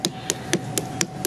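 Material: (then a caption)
Fruit rind. A watermelon is smacked six times in quick succession as a ripeness test. Each smack is a short, dull slap with a low thump around 340 Hz and a bright crack on top, dying away almost instantly.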